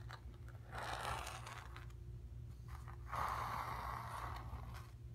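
Long nails scratch and tap across the surface of a stretched, painted cotton canvas. Two longer bursts of dry, raspy scraping stand out, the second one louder, with lighter taps and scratches between them. A steady low hum runs underneath throughout.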